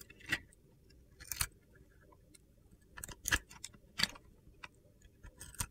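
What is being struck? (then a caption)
Glitter-coated soap bar scraped with a metal blade. A solid white soap bar with a yellow and purple glitter coating is held in hand while a metal utility knife blade scrapes the coating off in curls. The scrapes come as short, crisp, gritty bursts, about eight of them, bright in the high frequencies with only a faint low rumble between them.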